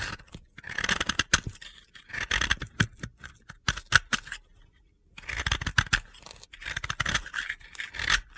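A metal utility-knife blade scrapes a solid, hand-held, round white-blue dry soap disc into crumbly powder. Dry, gritty, crunchy scraping strokes come in quick bright bursts, with a brief silent pause partway through before the scraping resumes.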